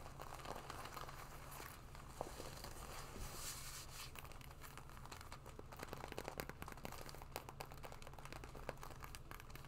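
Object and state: Leather jacket scratched with nails.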